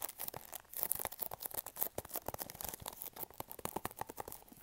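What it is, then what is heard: Small cardboard box. Fingernails scratch and tap on a small, hollow, pink printed cardboard product box held upright near the mic. The sound is a rapid, irregular run of dry, crinkly scratches and light taps, bright in tone, quiet, and cut short with almost no ring.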